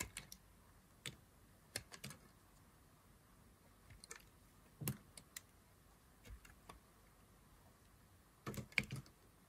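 A knife blade cuts into a solid green dry soap bar held in the fingers, peeling slices from its edge. Sparse, quiet, crisp clicks and snaps come in scattered clusters with a bright, dry edge. They stop instantly against a low, steady hiss.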